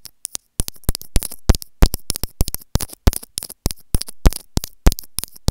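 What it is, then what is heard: Plastic earphone inline microphone. Long grey fingernails scratch along the small white plastic housing of an earphone inline microphone held in the fingers. The result is a close, irregular series of dry scratches and sharp clicks with bright crackle and a faint low thump, each stroke dying away almost at once.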